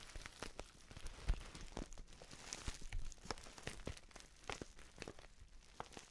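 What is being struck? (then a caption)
Filled paper tea pouch. Fingers scratch and squeeze the edge of a filled, orange-printed stand-up paper tea pouch. The result is a steady, quiet run of dry crinkling and papery crackles, with sharp, bright snaps rising out of a soft low rumble.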